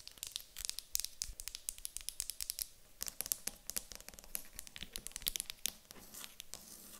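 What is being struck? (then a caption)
Small wooden block. A small, solid, light wooden cube is tapped and scratched with long acrylic nails, first while held in the hands and then after being set on a table. The result is a quiet, rapid, uneven stream of dry, bright clicks and scratchy taps with almost no ring.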